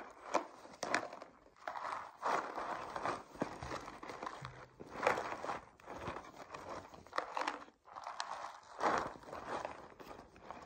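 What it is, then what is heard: Cardboard cereal box. A colorful, hollow cardboard cereal box, apparently closed and held upright over a table, is tapped and scratched with long painted nails. Dry, crinkly taps and rough scratching bursts come in uneven clusters, with a papery mid-range tone and very little ring after each touch.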